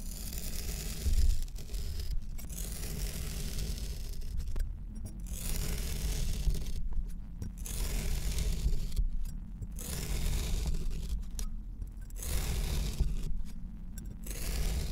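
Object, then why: Kinetic sand in a metal ring cut with a metal knife. A large metal knife cuts parallel slices through orange kinetic sand packed solid inside a round metal mold ring. Gritty, crumbly scraping strokes come in bursts over a steady low rumble, with brief quieter gaps between slices.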